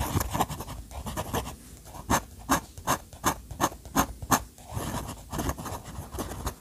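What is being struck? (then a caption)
Steel fountain pen nib on thick paper. The steel nib of an orange fountain pen draws quick hatching lines across a thick, dry paper sketchbook page. It makes bright, scratchy strokes with soft rubbing between them. A run of sharper, evenly spaced strokes sits in the middle of the clip.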